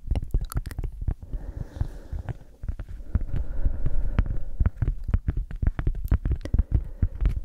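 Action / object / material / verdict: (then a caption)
tap / cork coaster / cork / none. A round, flat, solid cork coaster about the size of a palm is scratched and tapped with long acrylic nails. Quick, irregular, dull low thuds come in a rapid stream, with a soft scratching rustle filling the middle stretch. Each tap dies away almost at once.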